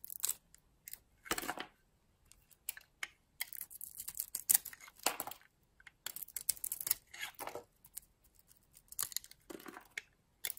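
A metal utility blade carves and scrapes a solid purple oval bar of soap with a blue interior, held in the hand. Short, crisp, bright scraping and shaving strokes come in bursts separated by brief silences, with almost no low end.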